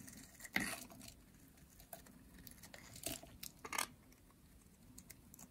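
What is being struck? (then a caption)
Bar of soap shaved with a metal blade. A metal blade shaves a dry, solid orange bar of soap, peeling long curls off it. Quiet, dry, crinkly scraping comes in short, bright bursts, with the loudest strokes near the start and toward the end. The brief strokes die away quickly.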